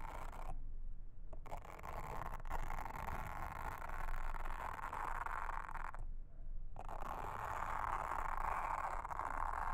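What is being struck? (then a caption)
Silicone honeycomb trivet mat. A pink mascara spoolie brush, held in a hand with long red nails, brushes and scratches across a round blue silicone trivet mat with a honeycomb texture that lies flat on a table. A steady, dense rustling scrape with a bright hiss continues throughout, broken by two brief quiet pauses.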